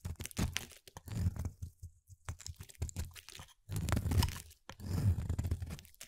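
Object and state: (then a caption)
Bar soap. A solid, palm-sized, light-blue bar of soap is held in the hand and cut with a utility-knife blade into chunky, crumbly pieces. Repeated dense, low crunching and scraping bursts come in close succession, with a few brief pauses and some faint bright crackle.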